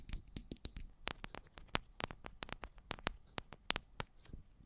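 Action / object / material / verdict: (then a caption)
tap / metal microphone body / metal / none. Long black almond-shaped nails tap the tops and sides of two identical silver metal cylindrical microphones. About nineteen quick, dry taps land in an irregular rhythm, each a sharp bright click with a faint low thump and almost no ring. The sound is quiet and close, set against a soft, steady hiss.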